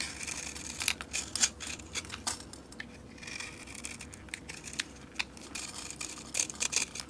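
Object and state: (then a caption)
Bar soap. A metal blade scrapes flakes off a solid purple bar of soap with a scored grid pattern and glitter, held in the hand. The sound is a dry, bright, crackly scraping, with quick irregular strokes that rise into sharper crisp bursts. Very little low end sits under the high, brittle texture.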